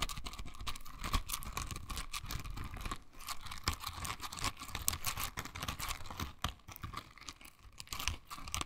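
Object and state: Silicone bristle scrubber.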